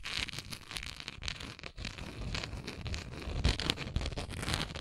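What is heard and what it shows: Long nails scratch the bumpy surface of a hollow, textured, translucent plastic Tums tablet bottle that still holds its tablets. The sound is a steady, dense run of dry, crackly scratching and rasping with bright, hissy edges over a low rumble, and a few sharper scrapes stand out near the end.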